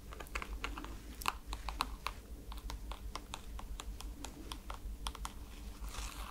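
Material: Rubber foam.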